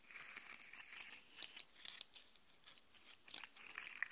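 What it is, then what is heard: Plastic articulated slug fidget toy. Fingernails scratch along the segment ridges of a hollow, segmented rainbow plastic articulated slug fidget toy held upright, and its segments are bent so they click. The result is a quiet stream of bright, dry scratching rasps, concentrated around 2 kHz, broken by short, sharp plastic clicks that die away almost at once.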